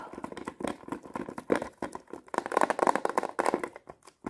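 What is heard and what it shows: Long painted nails tap and scratch quickly across the clear lid of a small, flat plastic watercolor paint palette case with round paint pans, held up close. Dense, dry plastic clicks and scrapes come in rapid bursts, with a hollow ring around 945 Hz that dies away almost instantly.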